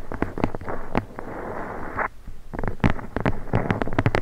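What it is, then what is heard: Leather-bound book spine. Long blue nails tap and scratch the embossed spine of a thick red leather-bound book, held horizontally with the spine up above the microphone. Quick, dry taps alternate with a steady rasping scratch in the middle, then more rapid taps and scrapes. The sound is low and muffled, and each tap dies away almost at once.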